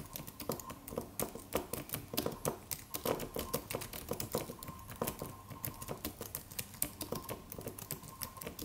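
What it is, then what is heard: Aluminum keyboard with plastic keys. Fingertips of both hands type on a slim silver aluminum computer keyboard with white plastic keys and a solid low-profile body. A quick, continuous run of short, dry clicks and taps with a slightly hollow midrange tone, each dying away almost at once. A faint, steady tone sits beneath the uneven rhythm.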